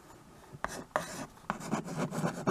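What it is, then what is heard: Chalk writing on a chalkboard. A hand with painted nails holds a small wood-framed chalkboard while a white chalk stick writes and scratches across its surface. Several short, dry, scratchy strokes start with sharp taps and carry a bright rasping texture. Each stroke stops quickly with almost no ring.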